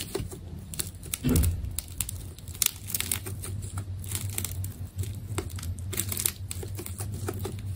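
A utility knife blade cuts into the surface of a solid, palm-sized ball of glossy purple adhesive tape, producing a steady run of bright, dry crackles and crinkly ticks. A low, constant hum sits underneath, with a brief louder thump of contact early on.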